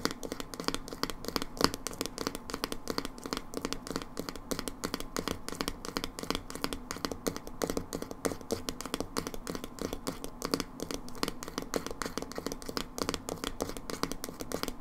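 Long nails tap rapidly and continuously on the black screw lid and label of a small, hollow, dark blue plastic hair dye tub. The taps are short, dry clicks with a hollow, low-mid body, and they keep a steady, dense rhythm throughout.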